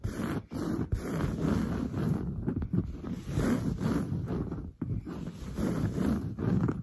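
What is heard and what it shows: Long blue-painted nails on both hands scratch fast across the large grey-brown textured woven fabric of a soft, padded sofa. The result is a dense, continuous low, scratchy rustle that pauses only briefly a few times.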